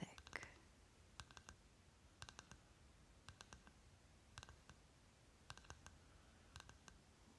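A short fingernail taps and scratches the paper label on the green plastic lid of a small round C.O. Bigelow lip butter pot held on its side. Crisp, dry, bright clicks come in about seven quick clusters of two to four taps each, with almost no ring. A faint low rumble sits underneath.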